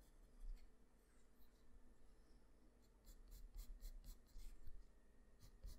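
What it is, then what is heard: Pencil on drawing paper. A graphite pencil held in the fingers scratches short hatching strokes on a flat sheet of white drawing paper, shading near the face and hair of a drawing. Quiet, dry scratching comes in soft bursts with bright, brief rasps over a steady low hum.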